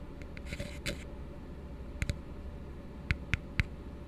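Fingertips and nails tap the base rim of an empty, hollow plastic cup resting open end down. Soft, brushy taps come first, followed by short, dry clicks in spaced pairs and singles over a steady low hum.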